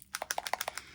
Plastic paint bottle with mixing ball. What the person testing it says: has a ball in it like nail polish. You can sort of hear that.